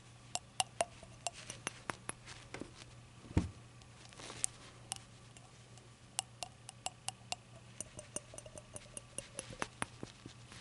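Long acrylic nails tap and handle a small, hollow, rainbow-glazed ceramic shot glass over a towel. The result is a quiet, irregular series of sharp, bright clicks with very short ring, plus a duller thump partway through, over a steady low hum.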